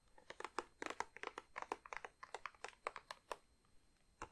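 Long nails tap and scratch a large glossy plastic bag filled with wrapped chocolate truffles, producing about two dozen quick, sharp crinkles with bright, papery tops. The taps come in a steady, uneven flurry, then pause briefly before one last tap at the end. The sound stays quiet and close with very little low end.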